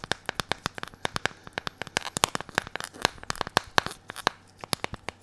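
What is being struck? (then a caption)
Smartphone with glass screen and plastic bumper case. A hand-sized smartphone with a glass screen and a blue plastic bumper case, held in both hands, is tapped and scratched with latex-gloved fingertips. About 34 short, dry, clicky taps come in a quick uneven run, each dying away almost at once, with a faint crinkly rubbing from the gloves in between.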